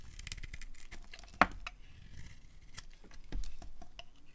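A solid pink dry soap bar, hand-sized, is shaved with a metal utility blade into curls over a pile of shavings. Quiet, crisp scraping and crackling fills the clip, broken by one sharp, bright click near the middle and a slightly louder stretch of scraping toward the end.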